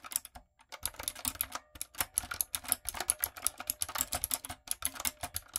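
Long nails and fingertips type steadily on a retro typewriter-style backlit mechanical keyboard with round plastic keycaps. The keystrokes make a quick, uneven stream of short, bright clacks and ticks that stop almost instantly, with a brief pause near the start.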